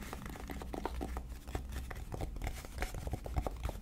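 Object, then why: Cardboard palette case. A flat, rectangular, hollow black cardboard eyeshadow palette case printed with gold lettering is held in both hands and tapped on its front face with long dark nails. A quick, irregular run of short, dry clicking taps dies away almost instantly over a steady low hum.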